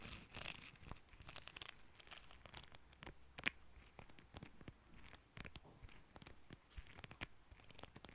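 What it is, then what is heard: Plastic comb. Fingertips and nails strum and scratch along the fine teeth of a small, solid, cream plastic hair comb held in both hands. The result is a quiet, irregular run of crisp, bright ticks and scratchy rasps centered around 2.4 kHz. Each tick stops instantly with no ring, over a faint low rumble.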